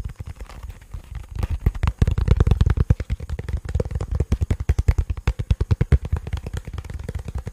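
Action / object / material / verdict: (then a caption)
tap / plastic portable speaker / plastic / none. A black, hollow, cylindrical portable bluetooth speaker with a plastic and rubber body is tapped and scratched with fingertips and nails. The result is a fast, uneven run of short, dull, low thumps with almost no ring, louder in the middle of the clip.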